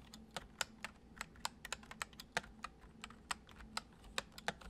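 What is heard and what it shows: Fingertips tap the keys of a full-size white plastic computer keyboard resting on a wooden desk, producing 20 soft, quick, bright clicks at an unhurried typing pace. Each tap is short and crisp with almost no ring, over a faint steady low hum.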